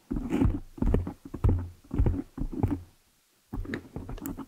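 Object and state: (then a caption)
Foam microphone windscreen being scratched. Long nails and fingertips scratch and rub the black foam cover on a desktop microphone, producing low, muffled, crackling bursts of rough scraping. The bursts come in several uneven clusters with a short silent gap before the final stretch.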